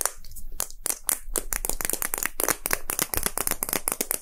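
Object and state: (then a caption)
Plastic gacha capsule being tapped. A small, hollow red and white plastic gacha capsule shaped like a Poké Ball is held and tapped roughly with fingertips and short nails. The result is a fast, steady stream of dry, bright clicks and hollow plastic taps that die away almost at once, with no clear pauses between them.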